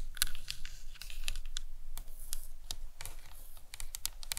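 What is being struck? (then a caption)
Plastic anatomical skull model. Long nails tap and scratch the top of the dome on a hollow plastic anatomical skull model. The result is a quick, irregular run of short, dry, bright clicks with light scratching between them, each tap dying away almost at once over a faint low hum.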